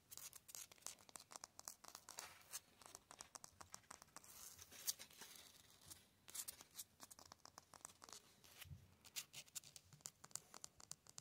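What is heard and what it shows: Fingertips and nails quickly scratch and tap across the rough surface of a grey concrete cinder block wall outdoors. The result is a dense run of short, dry, bright scratches and clicks with almost no ring or low end, rising and falling in quick, uneven bursts at a quiet level.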